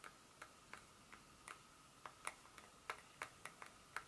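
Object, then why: Solid dark chocolate bar. A solid, flat dark chocolate bar held in the hand has its back surface tapped and scratched with long pointed nails. Twelve quiet, sharp, bright clicking taps sound at an uneven, ticking pace, each with a faint scratchy edge around 1.3 kHz and almost no low end. Each tap dies away almost at once.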